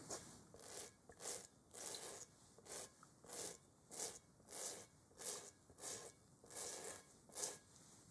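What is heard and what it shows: A stiff-bristled brush scrubs a large, hollow, textured rubber kickball held in a gloved hand. About 13 separate scratchy strokes come in an uneven back-and-forth rhythm, each a bright, hissy rasp with a faint hollow mid-toned body. Between strokes there is a quiet hush.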